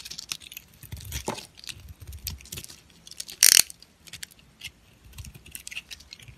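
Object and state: Soap bar shaved with a knife.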